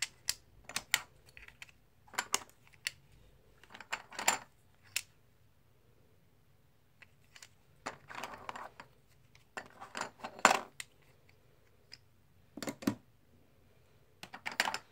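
Fingers riffle solid plastic/composite blue poker chips and drop them onto stacks in a tray. Bursts of sharp, bright clicks and clatter, with very short ring, are separated by quiet pauses.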